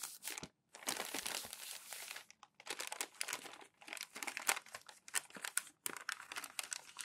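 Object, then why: Glossy magazine pages. A stack of crumpled glossy magazine pages, thin flexible paper, on a white table is smoothed flat with flat palms and fingertips, and each crinkled page is lifted and folded over. Dense, bright crinkling and crackling rustles come in bursts separated by brief silences, with no low end. The sharp papery crackles stop almost instantly.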